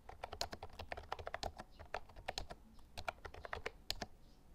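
A compact white and lilac plastic Actto Retro Pop Mini Bluetooth mechanical keyboard with round retro keycaps and a hollow case is typed on continuously with fingertips during a typing test, with a tablet beside it. Rapid, crisp, hollow plastic clacks with bright, high clicks follow each other in a steady, uneven stream of many quick keystrokes that stop short with almost no ring.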